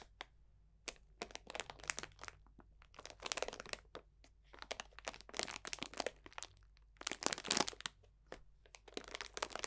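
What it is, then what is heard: Bag of dried potpourri. A clear cellophane bag of dried potpourri, full of dried orange slices and leaves, is pressed and crunched with the fingertips of both hands. Bursts of crisp, bright crinkling and crackling come in quick clusters with short pauses between them, each sharp snap dying away almost at once. A faint steady low hum sits underneath.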